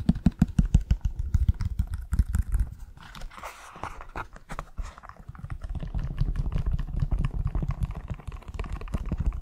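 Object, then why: Leather high-heel shoe. A hollow, empty black leather stiletto pump with a beige insole is held close, as fingertips and nails scratch the insole and tap the outer leather. Quick, irregular taps come loud and deep at first, then give way to a softer stretch of scratching. Steadier low rustling and tapping follow to the end.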